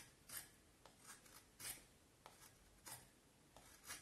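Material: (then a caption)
Wood. A knife carves and scrapes the shaped end of a solid, pale vine wood stick. About six quiet, bright rasping strokes are heard, each a short scratchy burst that fades quickly, with faint background hiss between them.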